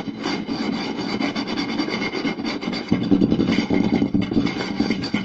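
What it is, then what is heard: Wooden plate scratched by fingernails. Fingertips and short nails scratch along the lower part of a round solid wooden plate with visible grain. The result is a steady, dense rasping scrape with a warm low-mid body. Just before the three-second mark, the scratching grows louder and coarser.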